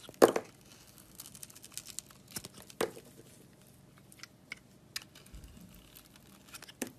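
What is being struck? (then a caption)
Bar of soap. A box-cutter blade carves strips off the surface of a solid red, glittery bar of soap with a pink inside, held in the hand. Crisp, scratchy shaving and crackling sounds come in quick bursts, with two louder cuts standing out among many softer scrapes and flicks.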